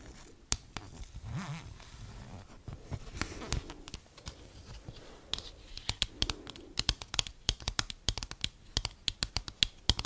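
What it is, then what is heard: Paper greeting card. Long acrylic nails scratch and tap on the front and back of a thin, flat, folded cardboard Christmas card with a cat picture. Soft, papery scratching in the first half gives way to a rapid series of sharp, bright, dry clicks that stop almost instantly.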